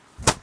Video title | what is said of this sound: Ladies Suit winter Collection Wholesale Market Faisalabad 2023 - Winter Collection Mega Sale | linen की आवाज से पता चल जाता होता है अगर अच्छी, इसका साउंड से पता चलता है, एक नंबर है